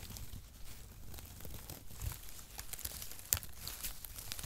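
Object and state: Cardboard packaging shreds being crumpled.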